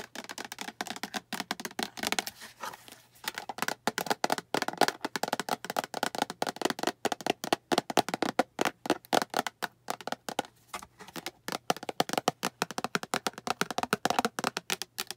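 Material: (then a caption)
Plastic. Long acrylic nails tap rapidly and continuously on a translucent green hollow plastic storage box with a handle. The taps are quick, dry clicks with a hollow, mid-pitched plastic tone that dies away almost instantly.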